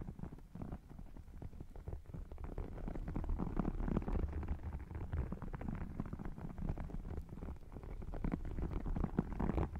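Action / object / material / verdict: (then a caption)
scrape / faux leather wallet with embossed scale texture / faux leather / none. Fingernails scratch and tap across the embossed scales of an open red faux crocodile leather wallet. The result is a dense, steady stream of close, low, muffled scratching and soft taps with little bright content, growing slightly louder toward the end.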